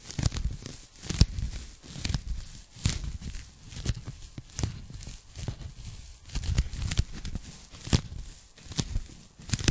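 Long nails scratch and tap on a pink polyethylene foam packing bag, folded into a strip and held in both hands. The result is a steady run of soft, muffled, low taps and rustles with bright crinkly scratches, each stroke dying away almost instantly.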